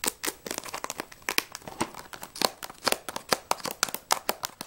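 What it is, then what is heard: Cardboard crayon box. A small, closed Jaxon 12 crayon box made of printed cardboard, hollow and holding crayons, is tapped and scratched quickly with long nails while it is turned in the hands. Rapid, sharp, bright clicks and scratches with a papery crinkle follow one another with almost no low end, each dying away instantly.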